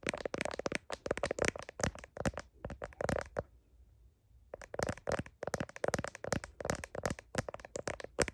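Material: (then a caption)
Plastic. Long nails tap and click rapidly on a phone's blue heart plastic case around the camera lenses, giving dense runs of short, dry, crackly clicks centred in the mids with a bright edge. The tapping pauses into near-silence for about a second midway, then resumes at the same quick pace.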